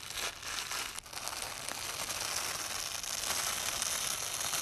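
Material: Nylon.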